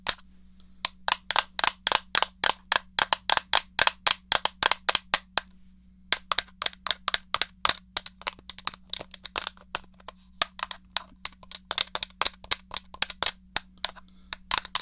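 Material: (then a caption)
Plastic. Fingertips and long painted nails tap the shell and press the buttons of a hollow, handheld grey plastic SNES game controller. About 65 sharp, bright clicks come in an uneven stream, with a brief pause near the middle. A faint steady hum sits underneath.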